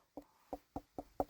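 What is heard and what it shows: A harvested Black Futsu pumpkin is tapped five times, giving short, hollow, low-mid knocks that die away almost at once. The hollow sound shows the pumpkin has ripened well.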